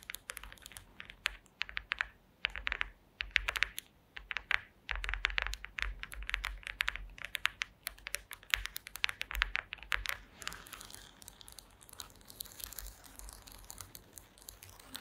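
Long green acrylic nails tap and scratch across a flat, solid woven wooden slat mat, making rapid, dense, bright clicks in quick irregular bursts. After about ten seconds, the sharp taps give way to a softer, hissing scratching texture with scattered clicks.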